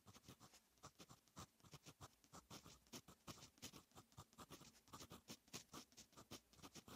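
A fine metal fountain pen nib writes on a lined paper notebook page, making a quick, steady run of short, bright scratching strokes. Each stroke is crisp and dies away almost at once, leaving a soft, close, quiet scratch.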